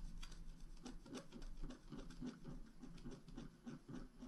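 A pointed wooden stylus scratches small strokes into the flowers on a flat, black-coated scratch art card, about A4, that lies on a table held down by one hand. The sound is a quiet, dry run of short scraping strokes with a faint low tone near 250 Hz, each stroke adding a brief brighter rasp that dies away quickly.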